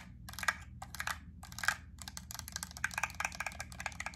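Long acrylic nails tap and scratch a small clear plastic clamshell pack of solid white wax cubes with a yellow paper label on the back. The result is a quick run of crisp, bright plastic clicks and crackly scratches that stop dead with no ring, over a faint steady low hum.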